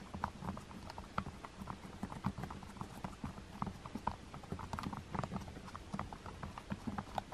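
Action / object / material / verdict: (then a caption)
tap / plastic TV remote with rubber buttons / plastic, rubber / none. Long-nailed fingertips press and tap the white rubber number keys on a black plastic TV remote. A rapid, irregular series of short, soft clicks and taps is heard, each dull and quickly damped with a light mid-pitched tick and a faint nail clack over a low, muffled thud.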